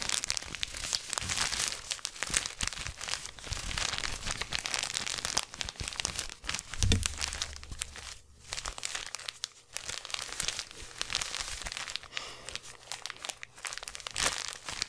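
Hands squeeze and crumple a small black crinkly plastic gift bag with a silver ribbon tie close to the microphone. The result is dense, bright crackling and crinkling that rises and falls over the whole clip, with a brief low thump near the seven-second mark.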